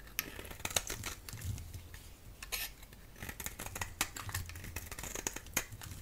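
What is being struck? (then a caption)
Bar of soap. A solid orange oval bar of soap, held in the hand, is shaved into curls with a utility blade. A quick series of crisp, bright scraping strokes follows, with sharp clicks over a faint low rumble.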